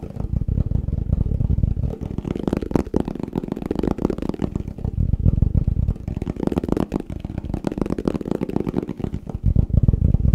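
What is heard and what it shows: A plastic tupperware food container is tapped quickly and steadily in a fast, continuous patter. The taps sound dull and low, with almost nothing bright on top, and each one dies away almost instantly.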